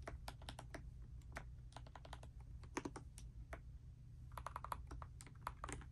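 A pastel Dust Silver D84 mechanical keyboard with plastic keycaps, resting on a bedspread, is typed on continuously with fingertips and long nails. Quick, crisp plastic clacks tumble in an uneven stream, some landing in brighter clusters, over a steady low hum.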